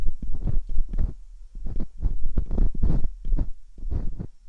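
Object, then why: Silicone microphone ear scraped with metal dental picks. Metal dental picks scrape slowly inside the ear canals of silicone binaural microphone ears, worked with both hands. The result is a string of close, muffled scraping and rubbing bursts with a deep, thumping low rumble, separated by brief quiet gaps.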